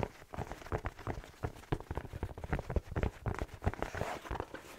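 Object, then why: Fleece-lined slipper with rubber sole. A black fleece-lined slipper with a rubber sole is held close and tapped and scratched with fingertips on the sole and fabric. Quick, dull, low thuds with very short decay mix with soft, bright scratching and rustling.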